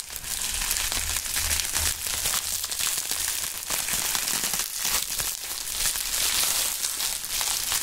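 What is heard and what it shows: A loose wad of thin, flexible, clear plastic bubble wrap is held in the air and crumpled and squeezed by both hands in fingerless gloves, with the fingertips pressing on the bubbles. The result is a steady, dense stream of bright, crisp crinkling and crackling with sharp little snaps, almost no low end and no pauses.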